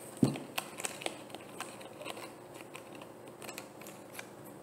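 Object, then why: Plastic bottle. A hollow, frosted white plastic bottle is held and tapped on its label side with long painted nails. A firmer, low-toned tap opens the clip, followed by a loose run of quick, light clicking taps that die away almost instantly, over a faint hiss.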